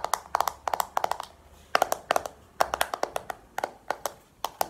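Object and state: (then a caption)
Plastic compact case. A small, hollow, round black plastic makeup compact is held and tapped with long painted nails. The sound is a series of about 26 quick, dry clicks in uneven bursts, each with a hollow tone near 740 Hz and a bright edge that dies out almost instantly.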